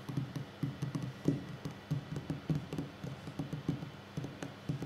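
Fingers tap on a wooden table at varying speeds, producing soft, low, dull knocks with a short ring and little high-frequency content. The taps come in uneven clusters, with a few louder ones standing out.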